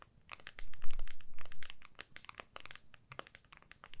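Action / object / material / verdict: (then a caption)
tap / smartphone in clear plastic case / plastic / none. Long nails of both hands tap rapidly on the back of an iPhone in a clear plastic case, held flat with the back facing up. The quick, irregular clicks sound crisp and bright, each cut off short, with a soft low rumble underneath during the busier stretch early on.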